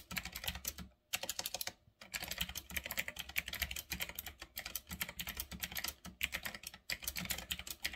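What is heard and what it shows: Fingertips type fast on a full-size retro typewriter-style mechanical keyboard with round black plastic keycaps on a metal-look frame. Rapid, bright, clicky keystrokes clatter in dense bursts with brief pauses, each click short and dry.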